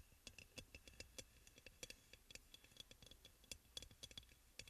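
Fingernails tap and lightly scratch the glazed sides of a hollow, white crackle-glazed ceramic aroma oil burner. The quiet, irregular clicks are sharp and bright, with a tone near 3.4 kHz. Each one dies away almost instantly, over a soft scratchy hiss.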